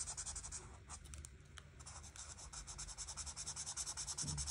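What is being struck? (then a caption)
Marker tip on paper coloring page. A marker tip scratches and rubs back and forth over a flat paper coloring book page, coloring flower petals orange and red. The quick, bright, scratchy strokes come at about three per second in a loose rhythm over a faint low hum. They soften briefly in the middle, then return stronger and more evenly toward the end.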